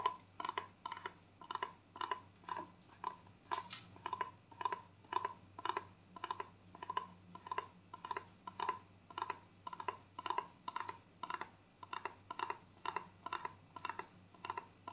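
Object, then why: Plastic conditioner tube. A gold plastic conditioner tube, held horizontally, is tapped and scratched with long nails. The result is a steady, even rhythm of soft, crisp clicks, each with a brief hollow ring around 1 kHz and a faint bright scratchy edge, over a low, quiet background hum.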